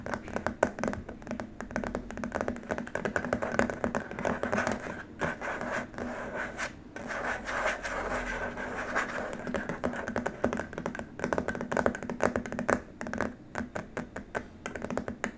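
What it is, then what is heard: Plastic keyboard wrist rest. Fingertips tap rapidly on a long, flat, white rigid plastic keyboard wrist rest, with some fingernail scratching mixed in. The dense, dry clicks and scrapes die away almost instantly and sit mostly in the midrange, with little deep or bright content, at a fairly quiet, steady level throughout.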